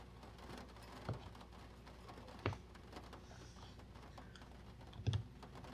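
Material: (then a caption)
Paper. Fingertips of both hands tap and rub the glossy printed cover of a closed vintage paper catalog, over fifty years old, lying flat on a wooden table. Soft, steady brushing runs throughout, broken by a few louder, dull, low taps that die away almost at once.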